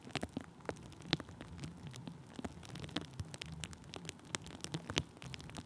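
Thin clear plastic bubble wrap stretched over a microphone is pressed and rubbed with the tip of a wooden stick. The result is soft, steady crinkling with many short, dry crackles and taps scattered through it, over a faint low hum.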